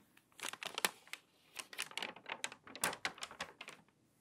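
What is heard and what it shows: A hand with long white nails grips the page edges of an open, water-damaged glossy paper magazine and turns its stiff pages. The result is three bursts of dry, bright crinkling made of quick, crackling snaps, separated by brief near-silent pauses.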